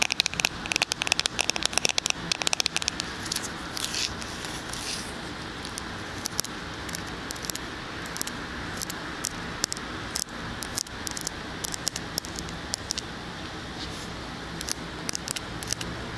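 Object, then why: Smartphone in a plastic case. A small black smartphone in a patterned plastic back case is tapped with fingertips and nails close to a microphone ear. Dense, rapid, bright clicks and soft patters come in uneven bursts over a steady faint hiss, with the busiest flurries near the start.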